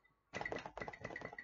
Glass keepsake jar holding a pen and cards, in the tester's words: The pen and the memory cards are what I could hear rattling around. So if I shake it, I can hear that going.